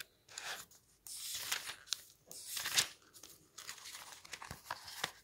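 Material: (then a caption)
Paper. Fingers quickly flick and turn the dense printed paper pages of an open paperback book resting on a wooden table. Bright, crisp fluttering swishes and papery crackles come in bursts separated by short pauses, with sharp snaps as pages fall, and almost no low end.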